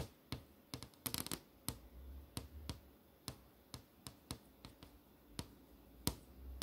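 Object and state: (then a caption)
LCD monitor screen tapped with nails. Fingertips and long nails tap on the flat, solid panel of an LCD monitor screen showing movie tiles. A series of sharp, dry clicks comes at an uneven pace, with a quick cluster near the one-second mark. Each tap is bright and dies away almost instantly over a faint low hum.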